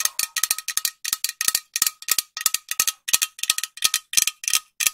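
A green metal aerosol spray can, held horizontally near the mic, is tapped with long nails in quick, irregular bursts. The sound is bright, clicky metallic ticks with very short decay and a faint ringing tone underneath.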